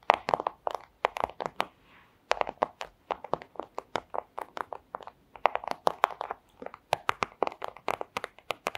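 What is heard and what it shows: The tips of long acrylic nails tap rapidly on a thin, transparent plastic pouch, making sharp, dry clicks with a crinkly edge and no low end. The taps come in quick uneven bursts, each dying away almost instantly. A brief pause near two seconds holds only a soft rustle of plastic.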